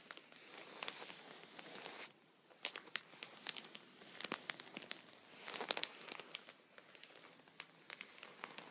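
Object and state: Plastic sheet protector.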